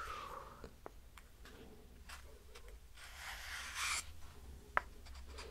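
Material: Wood.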